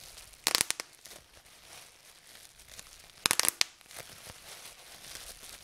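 Fingers pinch a fold lifted from a sheet of clear plastic bubble wrap and pop its air bubbles, giving two quick bursts of sharp, bright snaps about three seconds apart. Each snap is high and dry with almost no low end, and a soft plastic crinkle and rustle runs between the bursts.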